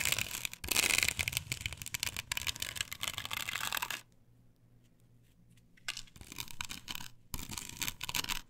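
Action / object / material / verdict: scrape / perforated plastic stencil on a wooden board / plastic / none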